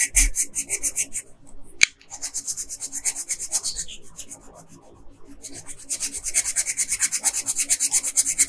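A pink colored pencil rubs briskly back and forth across a flat paper coloring page at the dress hem, making rapid, bright, scratchy strokes. The strokes stop briefly near the two-second mark with a single sharp click, then continue more softly. They grow louder and denser again toward the end.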